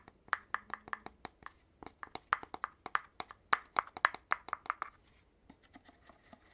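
Fingertips tap on the gold-rimmed cap and the body of an empty, hollow red cardboard poster tube, making a rapid run of short, dry, hollow taps with resonant tones around 1–2 kHz. Near the end, quieter, softer taps and light handling follow as the cap is handled and refitted.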